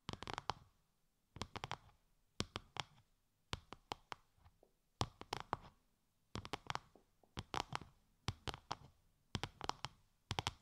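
A translucent, bubble-textured plastic sheet wrapped over the ears of a 3Dio binaural microphone is tapped with long, light-grey nails. Quick clusters of sharp, crackly clicks with bright highs and a soft low thump come in short bursts separated by brief quiet gaps. Each tap stops almost instantly.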